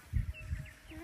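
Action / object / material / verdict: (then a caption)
flick / watermelon / fruit / ripe. A watermelon picked in the field is flicked to check it by sound, giving a low, dull thud around 117 Hz that dies away quickly, with faint outdoor background noise. The melon is judged ripe.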